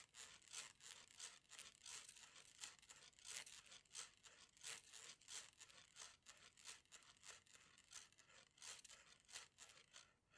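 A rainbow plastic slinky, a hollow coil, is held in both hands and flexed so its coils slap together. Quiet, bright, papery clattering bursts repeat in a loose rhythm, each dying away almost at once, with almost no low end.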